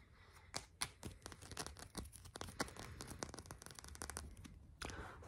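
A small, solid purple amethyst crystal cluster is held in one hand and fast-tapped and scratched with the fingertips and short nails of the other hand. The result is a quick, uneven run of dry, bright clicks and scratchy crackles, each dying away almost at once, over a low, soft background rumble.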